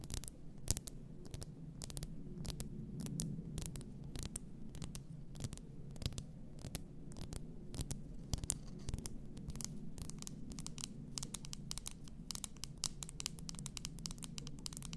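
Long nails tap and scratch the glass sides and top of an upright, full glass bath salt bottle. The result is a quick, steady run of short, bright clicks and scrapes with almost no ring, over a low, constant hum.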